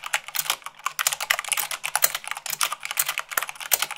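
Long acrylic fingernails type fast on a full-size mechanical keyboard with white plastic keycaps on a black base. The result is a dense, rapid stream of sharp, bright clicks and clacks with almost no low end, each tap dying away almost instantly.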